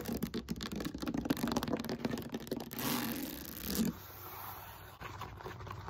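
Long nails and fingertips scratch and tap the beaded side of a solid, textured molded polyethylene foam roller held upright. Quick, dry scratchy taps come first, then a steady, brighter rasping scrape that cuts off abruptly near four seconds. Softer, quieter scratching follows to the end.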